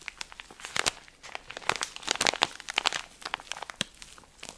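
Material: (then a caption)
Plastic film. A cylindrical pack of cotton pads wrapped in thin plastic film is held in one hand while fingertips and nails rub, squeeze and scratch the film. The result is a steady run of sharp, bright crinkles and crackles with almost no low end, each one dying away instantly.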